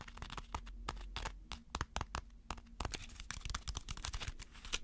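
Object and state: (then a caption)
Tapped aluminum foil ball. A ball of crumpled aluminum foil is tapped with quick, irregular strokes. Each tap gives a short, dry, crinkly click with bright edges that dies away almost at once. A faint low hum runs steadily underneath.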